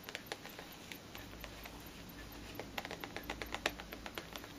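Long green nails tap and scratch the wrapped sides of a tall cellophane-wrapped cardboard perfume box, held upright in both hands. The result is a quick, irregular string of crisp, dry clicks with bright crinkly edges, over a faint low background hum.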